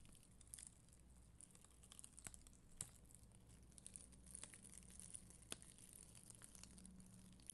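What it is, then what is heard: Plastic rhinestone sticker sheet. A black mascara spoolie held in long green nails brushes across a solid, flat sheet of red and clear acrylic rhinestone stickers on white backing. The result is a soft, quiet, bright crinkly scratching with scattered sharp little ticks, over a low steady hum.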